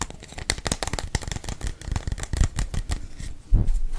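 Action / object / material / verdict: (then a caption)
tap / small plastic pill bottle with cap / plastic / none. A small, hollow green plastic prescription-style pill bottle with its cap, contents not visible, is held in the hand close to the microphone and tapped or shaken with the fingertips. The result is a steady run of quick, dry clicks and rattles with a soft, low thumpy body. Two louder knocks stand out near the middle and toward the end.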